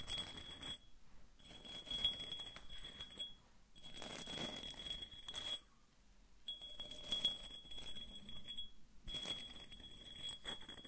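A small white patterned hollow ceramic vase is held in the hands and scratched with fingernails along its textured surface. Bursts of dry, bright scratching come in roughly one-to-two-second stretches separated by short pauses, with a steady high whistle-like tone under each burst. Soft-spoken talking may be faintly mixed in.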